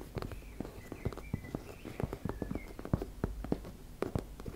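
Long nails tap and scratch on a teal embossed-fabric makeup bag. A quick, uneven run of short, dull, low-heavy taps with no ring, mixed with faint thin scratching squeaks over a soft fabric rustle.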